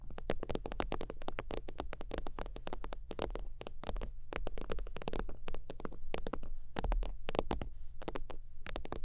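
Long teal nails tap rapidly across the top of a holographic faux-leather (synthetic-leather) zip wallet lying flat. The result is a fast, continuous stream of short, dry clicks with bright edges and almost no ring, over a steady low hum.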